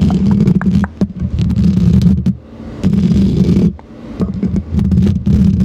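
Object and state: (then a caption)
Metal microphone grille scratched with plastic nails. Long green plastic fake claw nails on the fingertips scratch and tap the hollow metal mesh grille of a silver Blue Yeti-style condenser microphone. The result is a dense, low, rumbling scrape with a steady hum around 200 Hz, broken by quick bright tap clicks. It comes in three loud stretches separated by brief quieter dips.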